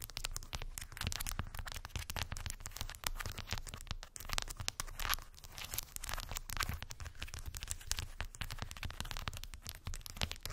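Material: Wood.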